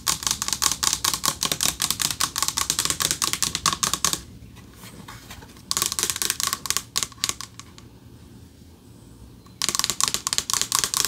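Rapid bright clicks of fingernails tapping a thin metal plaque, each tick dying almost instantly.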